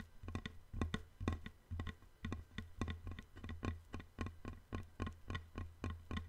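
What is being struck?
Thin wooden board.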